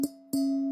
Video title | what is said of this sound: 20250117 Liu Yuning came to Weibo 10 years Anniversary Livestream | これだけの水量だと、音がこんな感じになるんだ。もし水をもっと入れたら、音が変わるんだよ。